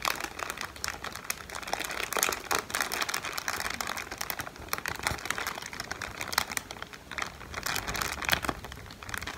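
A strip of several clear plastic film air pillows, inflated and hollow, is held up in both hands and crinkled and squeezed with the fingertips. The result is a steady, dense crinkling of quick, crisp, bright crackles with little low end, swelling and easing throughout.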